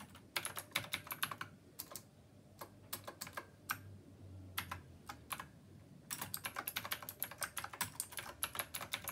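Fingertips of both hands type steadily on a black plastic, typewriter-style retro mechanical keyboard with round copper keycaps. Bright, crisp clicks come in quick bursts, thin out to scattered keystrokes over a low, soft hum in the middle, then return as a dense, rapid run of clacks to the end.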